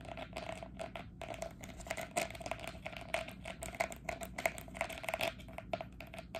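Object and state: Green plastic training cone tapped with nails.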